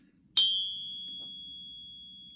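A counterfeit 10 oz Canadian silver bar resting on a ping pad is tapped once, giving a sharp high-pitched ping that settles into a thin, steady tone near 3.2 kHz with a slightly odd resonance as it slowly fades. The bar, already flagged by weight, dimension and edge tests, is fake, not real silver.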